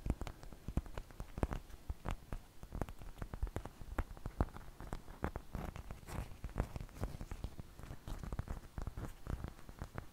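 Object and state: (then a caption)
Flour tortilla. Long fingernails scratch and tap the surface of a large, thin flour tortilla held close to the microphone. Dense, quick, dry taps and soft scratches sound over the whole clip, each dying away almost at once, with a muffled, low-heavy tone.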